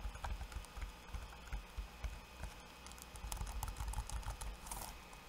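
Fingertips of both hands type quickly on a backlit laptop keyboard with plastic keycaps. The result is a quiet, uneven patter of soft taps with dull low thumps and occasional sharper, bright clicks.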